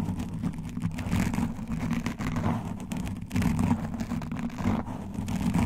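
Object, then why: Foam microphone windscreen. A black foam windscreen on a microphone is scratched with long dark nails and metal nail rings, alternating hands. The result is a dense, muffled rumbling scratch with most of its energy low, swelling and easing in uneven bursts with little high-end brightness.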